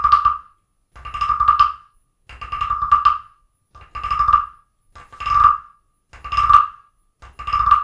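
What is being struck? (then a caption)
Carved wooden frog guiro. A wooden stick is tapped and scraped along the ridged back of a small, solid carved wooden frog guiro resting on an open book. Seven separate bursts of quick, dry ratcheting clicks are heard, each with a hollow, woody tone and almost no ring, separated by short silences.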